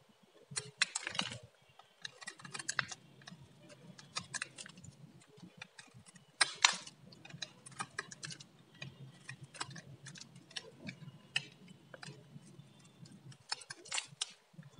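A metal blade scrapes and carves thin slices off a solid orange bar of varnished dry soap. The result is a quiet run of dry, crisp crackling and scratchy scrapes, mostly bright and high, with a few louder crunchy bursts between softer stretches of fine rasping.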